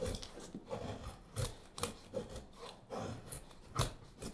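A straight steel carving knife shaves a solid, light wooden spoon blank, giving about eight short, dry cutting and scraping strokes. Each rasping stroke has a low, woody body and a bright hiss, and dies away quickly between passes.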